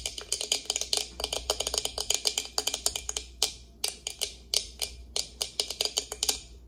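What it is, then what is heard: Plastic tumbler lid, nail tapping. Long acrylic nails tap and scratch the clear plastic lid of an insulated tumbler held in hand, with water drops visible under the lid. The result is an irregular run of dozens of crisp, bright clicks with very short decay and almost no low end, some grouped in quick flurries and others spaced apart.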